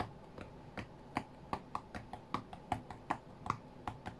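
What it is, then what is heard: Glass tablet touchscreen tapped. Fingertips and nails tap the glass touchscreen of an iPad tablet lying flat on a cutting mat, in fast irregular bursts. About fifteen short, dry clicks are heard, each with a mid-pitched knock around 1.1 kHz and no ring, over a faint low hiss.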